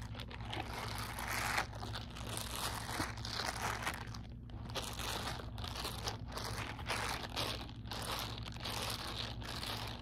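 Fingertips crumple and rub the bristled surface of a soft, hollow, empty grey silicone dish-scrubbing glove with bristle pads, held loosely in one hand. The result is a steady run of crinkly, crunchy rustling bursts with a bright, scratchy texture over a constant low hum.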